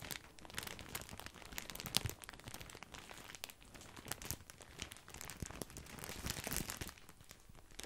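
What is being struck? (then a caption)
Plastic bag of breadsticks. A large, full, white printed plastic bag of grissini breadsticks is crinkled with the fingertips and both hands. A steady stream of bright, crackly plastic crinkling is heard, with sharp crunchy snaps and a louder crackle near two seconds.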